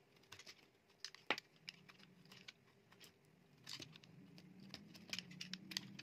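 A metal utility knife blade cuts and shaves chips off a solid, dry, palm-sized mint green bar of soap. Quiet, bright scraping and crisp clicking sounds come in irregular bursts, with a steady low hum underneath that grows toward the end.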